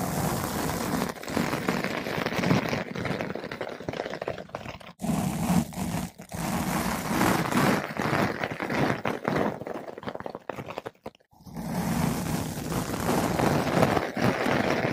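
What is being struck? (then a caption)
Foam microphone windscreen. A flat paintbrush with blue synthetic bristles brushes a large, soft, porous yellow-pink foam ball windscreen fitted over a microphone. The result is a dense, steady, muffled scratching and rustling with a low, rumbling body, pausing briefly around 5 and 11 seconds before the strokes resume.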